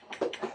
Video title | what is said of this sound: Man-Makers, KB Swings, Jacks, Dips & Squats / April Upgrade 2023 | If it's a good piece, it should have a real crystal sound. Like that. It means there are not so many flaws in flint.